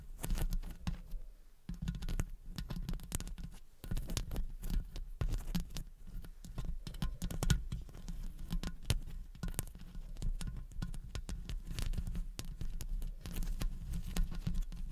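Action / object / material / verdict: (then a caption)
tap / metal mesh microphone grille / metal mesh / none. Long blue acrylic nails from both hands tap and scratch the hollow metal mesh grille of a large condenser microphone throughout. Dense, rapid clicks and scraping patter sit over a heavy, boomy low-end thump. Each short tick dies away almost instantly.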